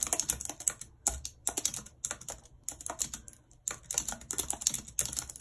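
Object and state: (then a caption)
Plastic computer keyboard. Long red acrylic nails type rapidly on a white, low-profile plastic wireless keyboard with a full number pad and hollow housing, lying flat on a map-printed surface. The result is quick bursts of bright, dry key clicks with short pauses between them. Each click stops almost at once.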